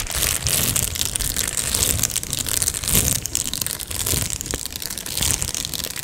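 A medium-size, hollow Amazon Prime padded plastic mailer is scratched with long nails and fingertips and crinkled. The result is a steady, bright crackle of crinkling and scratching, with soft low thumps from handling underneath.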